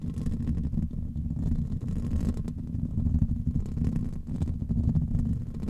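Fingertips and nails of both hands, with rings worn on the fingers, scratch and rub directly on a grey foam microphone windscreen. The result is a continuous low, muffled rumbling and scraping that stays steady in level throughout, with almost no high content.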